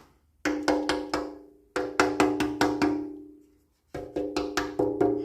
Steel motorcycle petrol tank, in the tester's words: it's making the right sound. It's got a ring.